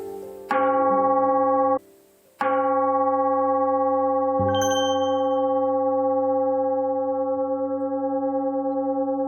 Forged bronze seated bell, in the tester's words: 제대로 된 그 좋은 재료 가지고 두드려 만든 방자 유기는 아주 울림이 좋습니다